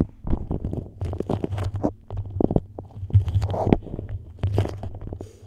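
Long nails scratch, tap and pinch the surface of a yellow beeswax-coated cotton food wrap laid over the mic. The result is a dense run of muffled, low-heavy crinkles and sticky rustles, broken up by quick soft taps.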